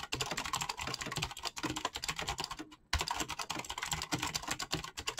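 Fast fingertip typing on a black mechanical keyboard with clicky switches and PBT plastic keycaps produces a dense, rapid stream of bright, sharp clicks with a light low thump under each keystroke. The clicks decay quickly, and there is a brief pause just before the three-second mark before the typing resumes at the same quick pace.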